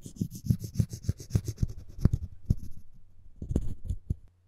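Floss string is sawed and rubbed back and forth across the edge of a solid, light wooden spoon handle. It makes a quick series of soft, dull, rhythmic rubbing strokes, mostly low in tone, with a brief pause before a few final strokes. The clip ends in silence.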